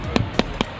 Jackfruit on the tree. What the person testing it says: Bunyinya seperti perut kalau kembung